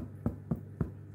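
A freshly baked Irish brown soda bread loaf is picked up and tapped three times, each tap giving a short, low, hollow thud with little ring. The sound shows the loaf is baked through, which a skewer coming out clean confirms.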